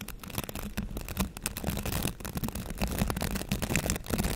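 Fingertips scratch and brush the bristles of a green plastic bristle scrub brush held close up. A dense, continuous scratchy rustle is heard, full of quick crackling flicks over a steady low rumble, with bright bursts when the bristles snap back.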